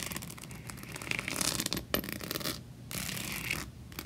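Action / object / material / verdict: scrape / plastic diary covered in rhinestones / plastic / none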